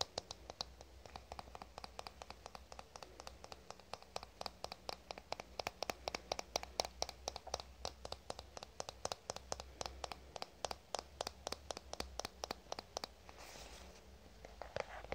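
A fingernail taps and scratches on the flat surface of a black plastic cosmetic squeeze tube, making a quick, steady series of short, dry clicks with a bright edge and almost no ring. Near the end the taps give way to a brief, softer scratching stretch before a few last clicks, all over a faint low hum.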